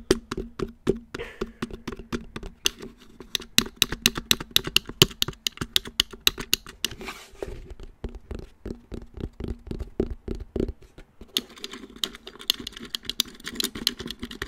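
Fingertips tap rapidly around the hollow black plastic back of a round wall clock and its movement box. The result is a steady patter of short, dry, hollow taps with bright clicky edges and a faint low body. The taps vary in loudness and die away almost instantly.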